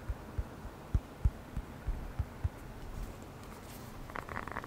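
A small black hollow rubber air blower bulb with a blue nozzle is tapped and squeezed with the fingertips close to the microphone. A quick series of soft, deep, muffled thumps comes first, then the sound gives way to a faint rustling and a brighter, airy puffing hiss near the end.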